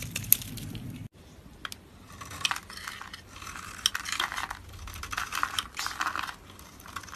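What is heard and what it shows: A utility knife blade scrapes and cuts the domed surface of a solid oval white soap bar held in hand, with white flakes piling onto a blue surface. Crisp, bright, crackly shaving sounds come in short, rapid bursts, with a low rumble under the first second before a brief silence.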